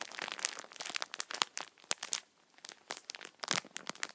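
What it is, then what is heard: Crinkling plastic film on a tissue multipack. A full multipack of tissue packets wrapped in thin plastic film is squeezed with both hands and rubbed with the fingertips, crinkling the film. Dense, bright crackles and sharp snaps come in quick, uneven bursts, with a brief lull just before the crinkling resumes. There is no low end and almost no ring after each crackle.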